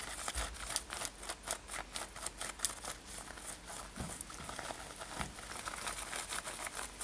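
Long nails scratch the fabric near the lacing of a worn light-blue denim lace-up top. The result is a quiet series of quick, dry, bright scratching strokes with a crinkly texture and very little low end.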